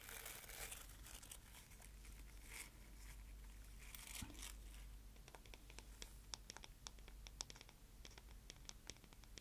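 Fingernails scratch and tap the smooth, solid wooden back and handle of a paddle hairbrush held up close to the microphone. The first half is soft, continuous scratching and rubbing. It then gives way to many sharp, bright taps and clicks over a steady low hum.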